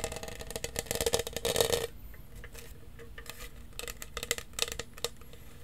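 A large, hollow lavender studded plastic tumbler with a lid and straw is tapped and scratched with fingertips and nails across its studded surface. A dense burst of quick, bright clicking and scraping fills the first two seconds over a hollow resonance near 465 Hz. Quieter, scattered taps follow, then a few sharper clusters of taps near the end.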